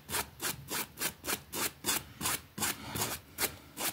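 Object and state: Small fabric rug being scrubbed.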